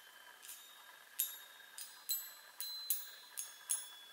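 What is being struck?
Metal tube chime on a wooden frame.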